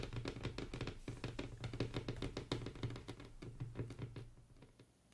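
Long pointed acrylic nails on both hands tap and drum across a flat, solid, light wood-grain tabletop, possibly laminate. Quick, irregular clicking taps land over a low, hollow thud with very little ring. The taps grow softer and sparser toward the end.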